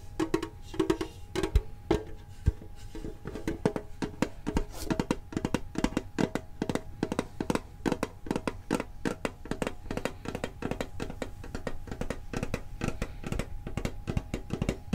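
A medium, printed, hollow metal Pokemon card tin is tapped on its sides with fingertips and nails. Quick, irregular taps run steadily through the clip, each short and dry with a dull low body and little ring.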